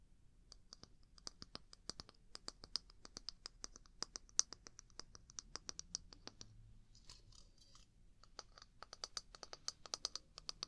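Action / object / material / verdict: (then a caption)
tap / small wooden mug / wood / none. Long nails tap and scratch the outer surface of a small hollow wooden mug with a handle, held near the mic. Rapid, dry, bright clicks with almost no ring, and a stretch of softer, hissy scratching near the middle.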